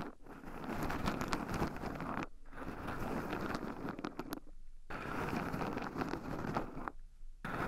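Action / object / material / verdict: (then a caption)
scrape / shelled pine nuts in a wooden bowl stirred with wooden chopsticks / pine nuts / none. Two wooden chopsticks stir and poke through a small wooden bowl heaped full of shelled raw pine nuts, with two black microphones buried in the pile so the nuts also rub against them. The result is a dense, continuous crunchy rustling and scratching, broken by brief pauses at about 2.3, 4.5 and 7 seconds.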